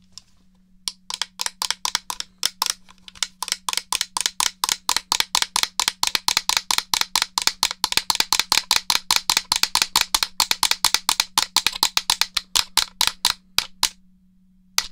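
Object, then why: Plastic game controller casing. Long nails tap rapidly on the hollow grey plastic casing of an N64 game controller, producing a steady run of roughly seventy short, bright, dry clicks with very little ring. A faint low hum sits underneath, and the tapping thins out near the end before a pause and one last tap.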